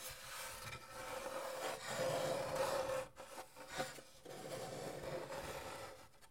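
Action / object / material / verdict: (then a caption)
scrape / wooden acoustic guitar body, interior bracing / wood / none. Fingertips rub and scratch across the bracing inside half of a wooden acoustic guitar that has been cut in two, a thin wooden plate with braces and a soundhole forming a hollow, open shell. The result is a steady, dry scraping hiss that swells and fades in waves, with a faint resonant tone humming around 555 Hz beneath it.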